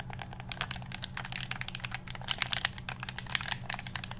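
A black hollow plastic game controller is held close to the microphone while its buttons are pressed and its shell is tapped with fingertips. The result is a rapid, steady stream of short, bright plastic clicks and taps with almost no ring, over a faint low steady hum.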